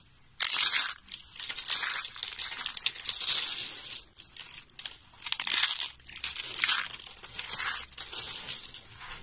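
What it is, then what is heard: Dry soap shavings. A pile of thin, solid, dry yellow soap flakes and curls is crushed and crumbled in both hands with long nails. The result is a steady run of dry, bright crunching and crinkling, almost entirely high-pitched with no low end, swelling and easing in waves over about nine seconds with brief quiet gaps between handfuls.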